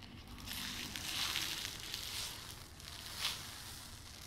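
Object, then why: Plastic pouch filled with brown sugar. A full, hand-sized stand-up plastic pouch of cassonade (brown sugar), with a paper-look window and a spout cap, is held close to the mic and squeezed, tapped and scratched with long red-painted nails. The result is steady bright, crinkly crunching with a few swells and one sharper crackle near the end, mostly high in tone with little low end.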